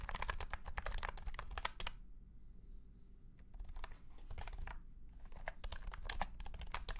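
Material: Plastic.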